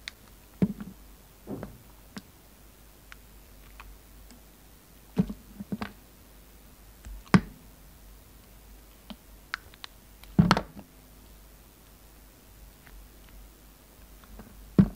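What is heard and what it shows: A utility knife blade cuts and scrapes facets into a solid pink and green flower bar soap. About a dozen short, dull, low clicks and soft scraping taps sound at irregular intervals, each dying away almost instantly, with quiet pauses between them.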